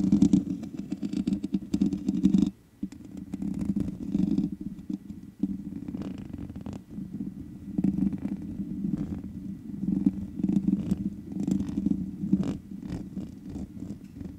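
Long nails scratch the top and sides of the black metal mesh grille on a large USB condenser microphone with a hollow head. The result is a dense, rumbling, crackly scraping concentrated in the low-mids, with sharper bright ticks flickering through. It drops out briefly near the 2.5-second mark before continuing steadily.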